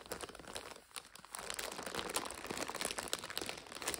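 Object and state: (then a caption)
Instant noodle multipack in plastic overwrap. Long nails scratch a full purple and red 5-packet instant noodle multipack in its plastic overwrap while hands lift and squeeze it. The wrap gives a dense, bright crinkling and crackling with almost no low end. There is a brief quieter moment just before one second, then steady crinkling to the end.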